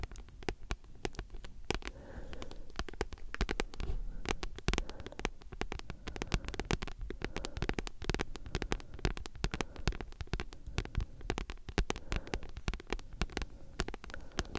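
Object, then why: Paperback book with card cover. Long nails tap and scratch quickly across a solid, thick paperback book with a glossy card cover. The result is a dense, continuous run of short, dry clicks and scrapes, with most of the energy low and thuddy and only a faint bright edge. Each tap dies away almost instantly.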